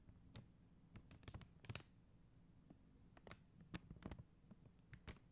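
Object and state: Plastic rhinestone sticker sheet.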